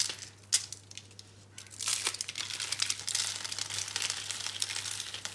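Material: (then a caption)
Soap. Bare hands hold and crush small, hollow, rolled, dry brown-pink soap curls on a green surface. After a quiet start broken by one sharp snap, dense, bright, dry crinkling and crunching builds and continues to the end, over a faint steady low hum.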